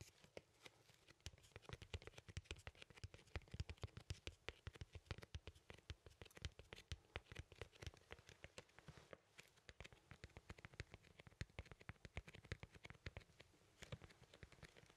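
Fingernails scratch and tap rapidly along a large, thin, flat cardboard vinyl LP record sleeve held in both hands. The result is a steady stream of quiet, dry, crackling taps and scrapes with bright, papery edges and a soft low thump under each one, all dying away almost instantly.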